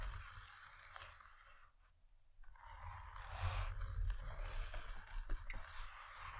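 Long nails scratch the fabric side of a padded paisley cloth pencil case, making a soft, dry scraping and rustling texture. The scratching fades briefly near the two-second mark, then returns louder with uneven, crunchy strokes and a deep low rumble beneath.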